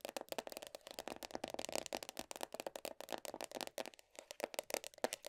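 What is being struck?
Plastic tub lid.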